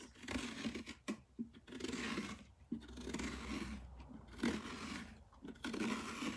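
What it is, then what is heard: Pumpkin rind scratched. Long dark-painted nails scratch and rub across the ribbed rind of a large orange pumpkin that is held steady with one hand on a wooden workbench, its visible side still uncut. Irregular bursts of dry, hissy scraping rise and fade over a faint low steady hum, with brief quiet gaps between strokes.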